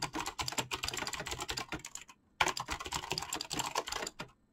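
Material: PBT plastic.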